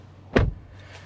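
The rear door of a 2021 Opel Mokka is closed from inside the car, giving a single solid, low thud that fades quickly. The closing sound is judged good, suggesting well-built doors.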